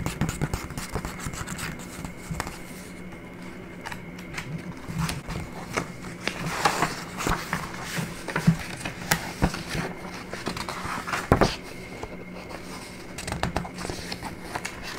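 Fingertips and nails rub and scratch across the pages of an open printed paper booklet resting on a wooden table, then turn its pages. Soft, dry scratching and rubbing is broken up by sharp papery crackles and rustling page turns, with a faint steady hum underneath throughout.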